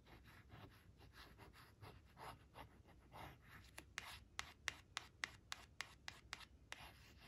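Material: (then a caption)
Laminated cardboard. Long acrylic nails trace the shapes on a thin, flat laminated cardstock picture card of leaves resting on a woven cloth, scratching its glossy surface. Soft, bright rubbing strokes come first, then about eleven sharp, dry clicks with a ringing note near 2 kHz over the quiet scratching.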